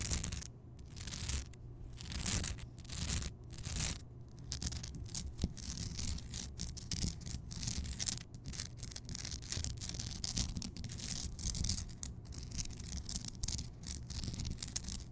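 Long nails scratch across the rough surface of a large, solid, glowing pink Himalayan rock salt lamp. Dense, gritty scraping comes in repeated strokes, with a bright, hissy rasp over a low, steady rumble.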